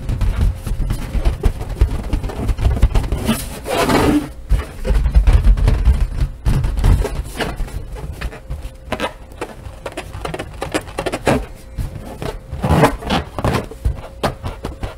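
A large, hollow, air-filled purple latex party balloon with white polka dots is held against a wooden table and tapped and rubbed with long nails and fingertips, while deflated balloons lie nearby untouched. Quick, irregular taps with soft rubbing and squeaks give dull, bass-heavy thumps that die away almost at once.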